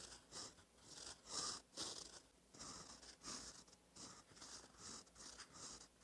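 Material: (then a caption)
Paper. A gold-toned metal fountain pen nib, held by fingertips, scratches across a thin cream lined notebook page resting on a solid flat surface while writing cursive in ink. The result is a quiet series of bright, dry, scratchy strokes that swell and fade with each word, separated by brief pauses, with almost no low end.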